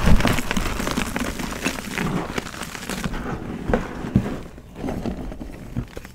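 Bare hands crush and rub pieces of a pressed gym chalk donut into powder over loose chalk, with fingertips and palms working the solid, crumbly material. Dense, close crunching and crackling are heard, heavy in the low end with occasional sharper crumbles. The grinding grows quieter and sparser toward the end as the chalk breaks down.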